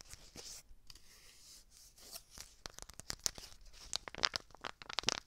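A small, flat, red McCormick seasoning packet, apparently sealed and made of a foil and paper laminate, is crinkled and squeezed with long dark nails and fingertips close to the microphone. Bright, high crackling and papery rustling start softly, then grow into denser, sharp crinkly snaps in the second half.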